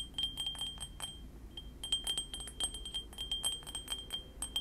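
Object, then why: Small ceramic mug. A small, hollow white ceramic mug with cartoon prints is held beside the microphone and tapped with fingernails in a quick, uneven series of about two dozen taps. Each tap gives a bright, glassy clink with a ringing tone near 3.2 kHz that fades quickly, over a faint low rumble.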